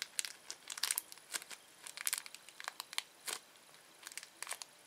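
A small, thin, empty red-orange printed plastic Anta Flu candy wrapper is held and crinkled with the manicured fingertips and nails of both hands. Bright, crisp crackles come in quick irregular bursts with short quiet gaps between them, and there is almost no low end.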